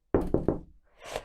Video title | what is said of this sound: SESSAD "Les Roseaux" - Atelier Gazette - Reportage Amis Verts Camon | ça résonne quand on vient taper comme ça. Ça résonne énormément dans le bac